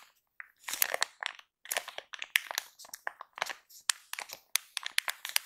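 Long pink acrylic nails and fingertips tap and scratch across the crinkly top of a pink and white soft plastic film pack of baby wipes, full of wipes and lying flat. The result is a dense run of bright, crisp crinkling and crackling bursts with no low end, each dying away almost instantly, separated by brief pauses.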